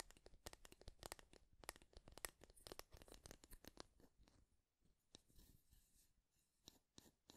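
A light bamboo or wooden wide-tooth comb with a handle, held in both hands, is strummed and scratched along its teeth with fingertips and nails. Quick, dry, bright clicking plucks come in a dense, irregular run for the first few seconds. They then thin out into sparser plucks and soft, raspy scratching.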